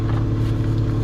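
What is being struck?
Nothing is struck.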